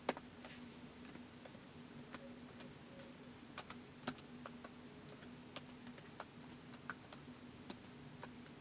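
Fingertips of both hands slowly press the keys of a white plastic laptop keyboard. About 26 short, quiet, bright clicks come at an uneven pace over a steady low hum. Each click dies away almost instantly.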